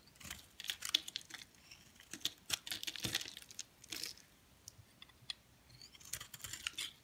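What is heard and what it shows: A flat metal blade shaves and scrapes curls off the surface of a solid, hand-sized white bar of soap held in one hand. The result is a run of crisp, dry scraping and crackling bursts, mostly bright and high with little low end, separated by short quiet pauses.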